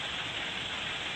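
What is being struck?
Nothing is struck.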